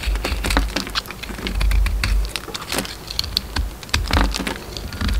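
A solid oval DURU soap bar with a gold coating and a pink inside, held in the hand, is shaved and scraped with a metal utility knife blade. Rapid, crisp scraping ticks and short bright shaving strokes patter over a low rumble.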